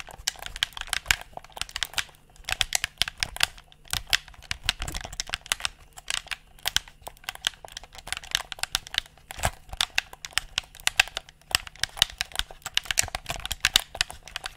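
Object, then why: Hollow plastic gamepad. Fingertips click the buttons and scratch the shell of a handheld, hollow black plastic gamepad. The result is a steady stream of rapid, crisp clicks and dry scratching with a bright, crinkly texture, little low end, and no ring after each tap.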